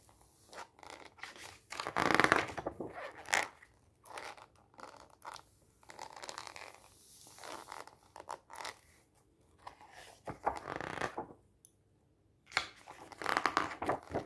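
Fingertips press, squeeze and slide over the glossy pages of a thick, solid glossy paper magazine with a white cover lying on a stack on a table, and riffle its page edges. Soft, irregular bursts of dry rustling, crinkling and scratchy friction rise and fall with short quiet gaps between them. The sound is light and papery, with little low end and a bright, brushy top.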